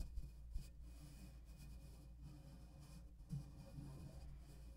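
Fingertips and nails of both hands scratch directly on the hollow metal mesh grille head of a black USB condenser microphone. The result is a quiet, dull, low rumbling scrape with almost no bright content, broken by a few soft thumps near the start and just past the three-second mark.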